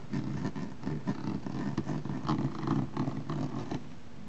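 Fingertips with short painted nails tap and scratch the curved, textured dot-pattern surface of a large, hollow hard-shell plastic suitcase. The taps give soft, low, hollow thumps over a steady scratchy rasp, with a deep boomy resonance and little bright content.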